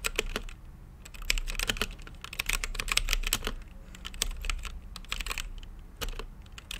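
Fingertips type on a mechanical keyboard with plastic keycaps and a translucent lit case. Bright, sharp clacks come in quick bursts with short pauses between them, each keystroke dying away almost at once. A steady low hum runs underneath.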